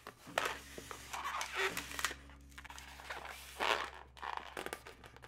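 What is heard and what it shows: Long nails scratch and tap near the twist joint of a yellow, hollow, air-filled twisted latex modelling balloon. Bursts of bright, crinkly scratching and rubbing squeaks alternate with quieter taps, over a steady low hum that runs throughout.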